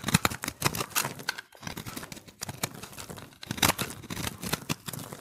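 A steel utility-knife blade scrapes and shaves the surface of a solid, hand-held recycled soap ball of pressed, multicolored dry soap, splitting off layers. It makes a dense run of crisp, bright, scratchy strokes and crackles with a short pause around the middle. Flakes of soap peel away from the ball.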